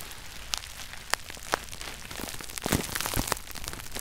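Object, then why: Plastic bubble wrap. Both hands squeeze bunched clear plastic bubble wrap held over a red shoebox lid, popping the bubbles. Sharp, bright pops snap out over a steady crinkling rustle, and they come more densely and loudly toward the end.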